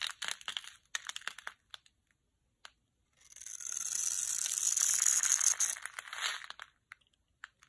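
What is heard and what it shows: A utility knife shaves the dry surface of a solid pink oval bar of soap held in the palm, carving it into small bits. Quick dry, crinkly scrapes come first, then after a brief pause a long, steady, bright rasping scrape builds and fades. A few faint clicks follow. The sound is thin and high, with no low end.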